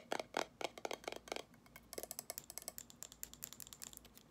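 Long acrylic nails tap and scratch on a small amber glass jar candle filled with solid wax, with a gold metal lid printed with a pumpkin pattern, held close. About 25 quick, dry clicks are heard, louder and fuller at first, then lighter and brighter with a thin high tick. None of them ring on.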